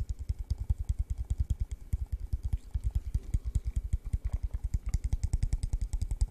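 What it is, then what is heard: Empty plastic cup. A hollow, empty yellow translucent plastic cup is held in the hand and tapped with the fingertips in a rapid, uneven stream of taps. Each tap is a short, deep hollow thump with a faint bright click on top, dying away almost at once.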